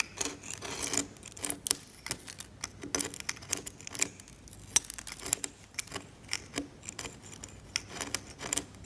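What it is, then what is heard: Varnished oil painting on canvas being scraped. A steel scalpel blade scrapes the varnish layer of a flaking varnished oil painting on canvas. It makes a rapid series of short, dry, bright scratches and ticks with almost no low end and no ring, separated by brief quiet gaps.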